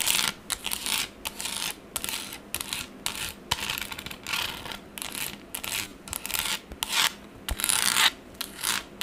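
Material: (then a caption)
Plastic. A pink plastic tablet case, held in one hand, is scratched and rubbed with the long acrylic nails of the other hand. Quick bursts of bright, raspy scratching repeat rapidly with short gaps between strokes, leaving a dry, hissy texture with almost no low end.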